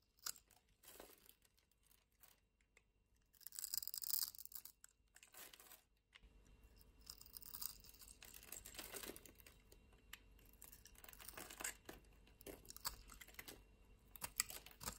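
A small, solid oval mint-green soap bar held in the palm is scored and scraped into small pieces with a metal utility-knife blade. Bright, dry scratching and crunching strokes come in quick bursts, with louder tearing-like scrapes near the start and a denser run of short, crisp cuts after that.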